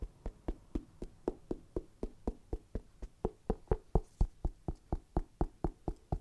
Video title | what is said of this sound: ASMR - Shoe Unboxing & Tapping/Scratching Sounds 👟 (Nike Foamposite Pro) (Askick.ru Collab) | This material's definitely sturdy, but you just gotta do the knocking test to see.